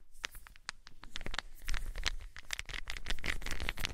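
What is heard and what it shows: Small solid wooden balls are held enclosed in both hands, rolled and shaken so they clack together. The result is a quick, irregular patter of short, bright clicks over a soft, low rolling rumble, with no ring after each knock.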